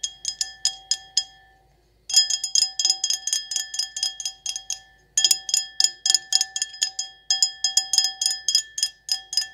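An empty, clear stemless wine glass with an etched floral pattern is held in the hands and tapped quickly with long acrylic nails. Bright, glassy clicks ring with a steady tone near 750 Hz and high overtones. The taps come in fast, uneven bursts, with brief pauses before about 2 seconds and just after 5 seconds.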